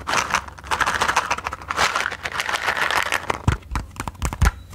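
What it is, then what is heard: Cardboard matchbox. Long nails tap rapidly on the printed faces of a small, closed, rectangular cardboard matchbox held close to the mic. The result is a dense stream of dry, papery clicks with a crinkly midrange texture, and a few heavier, low thumps near the end.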